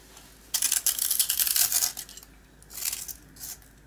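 A box cutter blade scrapes a small, round, dry rusk with a green coating held in the hand; the solid, crumbly piece flakes its coating and the yellow rusk crumbles. A long burst of bright, dry scraping and crunching is followed by two shorter scrapes, with almost no low end.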